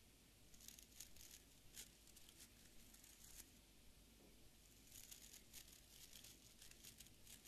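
Fingertips and nails flick and scratch across the tips of a small beard brush, held in one hand, with an orange wooden back and dense, stiff dark fibre bristles. The result is a quiet, steady run of crisp, bright crackling scratches in short, quickly fading bursts, with a faint low hum underneath.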